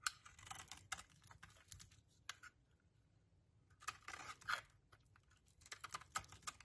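A metal utility-knife blade scores and chips a small solid purple soap bar, held over a pile of soap shavings, into shards. Quick, dry, crisp scraping and crunching bursts sound bright and papery, with a sharp snap at the start. A quiet pause in the middle comes before another run of crackling cuts.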